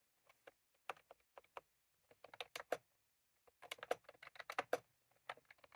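Fingertips of both hands type continuously on a full-size plastic computer keyboard with round cream typewriter-style keycaps resting on a desk. Quick, dry clicks and clacks centered in the midrange come in bursts separated by brief pauses. Each keystroke dies away almost instantly.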